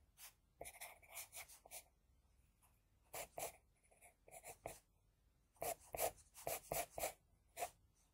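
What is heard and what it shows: An HB graphite pencil held in the fingertips scratches a flat sheet of drawing paper resting on a hard surface while sketching an anime eye. Quick, dry scratching strokes come in three clusters separated by short pauses, each with a soft papery hiss and a bright edge.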